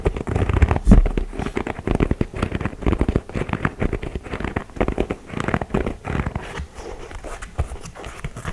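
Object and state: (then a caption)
Leather basketball sneaker. Fingers tap rapidly along the sole edge and the leather upper of a white and grey leather Jordan 4 style basketball sneaker held up in the hand. The result is a dense, irregular stream of soft, dull, low-heavy taps with faint crinkly scratching and very short decay, with a louder thump near the start.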